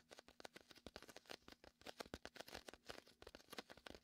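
Fingertips tap and peel on the sticky surface of a large, hollow, air-filled red and white inflatable vinyl (PVC) beach ball positioned to the right of the mic. The result is a rapid, quiet series of short, dry taps and tacky peeling crackles, bright and papery with little low end and no ring.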